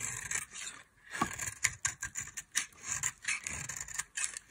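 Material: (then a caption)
Soap. A metal blade carves a solid bar of dry mint-green soap held in long-nailed fingers, scraping and cutting through it. Repeated short, dry scraping strokes come in quick bursts, with bright, rasping texture centered around 2 kHz and little low end. Each stroke stops sharply with no ring.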